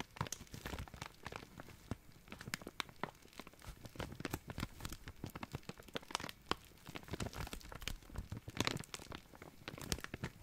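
A small, clear, thin, empty plastic zip-lock bag is crinkled and rubbed between fingers. It gives a steady, quiet stream of dense, crackly crinkles with sharp bright snaps spread across the whole clip.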